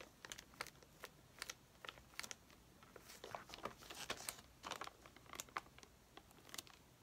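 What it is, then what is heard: Plastic-wrapped paper pad. A stack of white paper sheets in a clear plastic bag, lying on a table, is tapped and scratched with long painted fingernails, then lifted at the end. The result is a quiet series of sharp, crisp clicks and plastic crinkles, bright with almost no low end, each tap dying away almost instantly.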